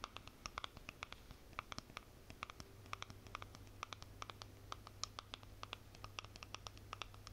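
Long nails scratch and tap the lid and side of a small white plastic cosmetic jar. The result is a quiet, steady run of quick, dry clicks and scrapes with a bright edge, heard over a faint low hum.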